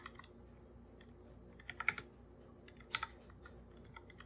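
A full-size black plastic keyboard with plastic keycaps is typed on with bare fingertips, giving soft, hollow, bright clicky taps at an uneven pace. Louder clusters of keystrokes stand out near the middle and later in the clip over a faint steady background.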